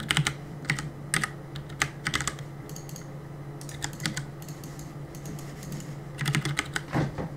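Fingertips press and tap the plastic keycaps of a black plastic CM Storm mechanical keyboard on a desk while gaming. Bright, sharp clicks come in quick bursts, thin out into a quieter stretch mid-clip, then return in a denser flurry near the end. A steady low hum sits underneath throughout.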